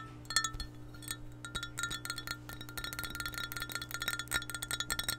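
Long painted nails tap and scratch an empty, hollow clear glass measuring cup with a handle and red markings, held in hand beside the mic. A rapid, uneven series of light clicks brings out short, bright, chime-like glassy rings over a steady low hum.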